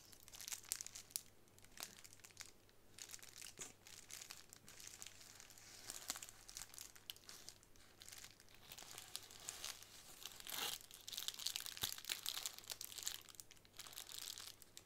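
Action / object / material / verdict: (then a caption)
scrape / plastic bubble wrap sheet / plastic / none. A plastic bubble wrap sheet, held upright, is squeezed and scratched with long nails. Soft, bright crinkling and fine scratching continue throughout, with dense small crackles and occasional sharper snaps, over a faint steady low hum.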